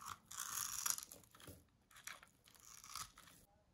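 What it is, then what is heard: Dry soap bar cut into cubes. A small metal blade cuts small cubes off a green bar of dry solid soap held in the hand. Bright, dry crunches and scrapes come in uneven bursts with quiet gaps between them.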